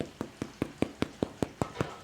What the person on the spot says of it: when you give it a thump it it should sound kind of hollow